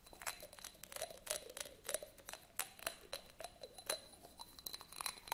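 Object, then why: Textured glass votive candle holder. A small, hollow, empty textured yellow glass votive candle holder is held in both hands while fingernails scratch and rub across its surface. The result is a quick, irregular run of short, bright scratchy clicks and rasps over a faint steady glassy ring in the mid range, with thin high tones hanging above. The sound is quiet overall, with almost no low end.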